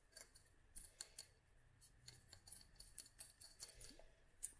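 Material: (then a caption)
Glass. Long nails tap a small clear glass dropper bottle filled with oil and dried flowers, producing a quick string of bright, glassy clicks with very short ring. The taps are quiet and crisp over a faint low background hum.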